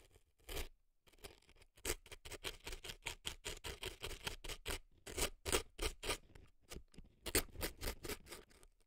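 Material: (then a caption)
Floral foam. An earpick scrapes dry floral foam packed into the canal of a right silicone elf ear. It makes a rapid series of short, dry, crunchy scratches with bright crackle and a little low thump, and they stop briefly between bursts.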